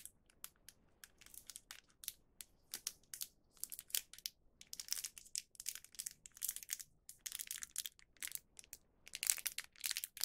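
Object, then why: Small plastic film snack packet. A small printed plastic film packet of cheese okaki, full and holding one round cheese rice cracker, is held between the fingertips of both hands and crinkled and squeezed. Quiet, bright, dry crinkling comes in rapid, irregular bursts with almost no low end and no ring after each crackle.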